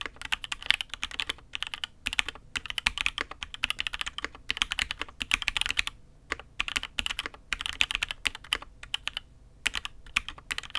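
Both hands type with fingertips on a Matrix 8xv 2.0 Add X'mas custom mechanical keyboard (INK Black) with an aluminium case and red and grey ABS keycaps. Bursts of quick, bright, clacky keystrokes are separated by brief pauses, and each key sound stops almost instantly with very little low end.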